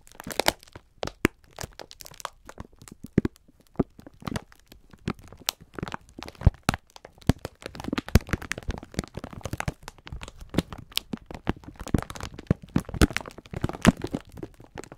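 A clear plastic film pack of sponge scourers is held in both hands while the fingertips squeeze and rub it. The plastic gives off a dense stream of sharp, dry crinkles and crackles, with brief snaps that die away almost at once. Many quick bursts run through the whole clip.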